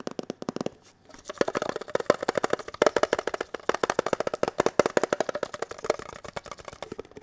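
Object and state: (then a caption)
Metal tin box. Fingertips, one hand in a latex glove, tap rapidly on a small, hollow, red-and-white printed metal Kellogg's Special K tin box held in both hands. The result is a fast, steady stream of short, dry, hollow clicks with a mid-pitched tinny tone, pausing briefly near the one-second mark before resuming.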